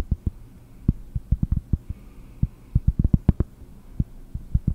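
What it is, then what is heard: Cork disc tapped with nails. A round, flat, solid cork disc is tapped with long nails while held near the microphone. About 21 short, dull, low thumps land in an uneven rhythm, each dying almost instantly with no ring, over a faint low hum.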